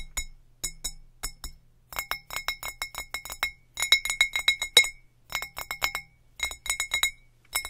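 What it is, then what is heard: Glass bottle. Fingertips tap on the sides of a clear, mostly empty glass bottle with a dark label, held upside down against a textured wall. Quick bright clinks come in irregular bursts, each with a short, high ring that fades fast.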